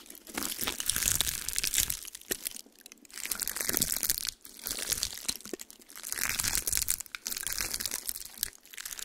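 A small, dry, brown pine cone is held in one hand and squeezed and crushed by fingers with long pink nails, while the other hand rests empty on a white towel. Bursts of bright, dry crunching and crackling come in waves, separated by short quiet gaps.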